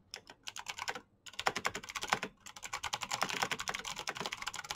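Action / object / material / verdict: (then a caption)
tap / plastic mechanical keyboard / plastic / none. Fingertips with short painted nails type fast on a black plastic mechanical keyboard with backlit keycaps, producing about two dozen sharp, bright, clicky key taps that stop almost instantly. The rapid bursts break for brief pauses around one second and again near two and a half seconds, then resume in a steady stream.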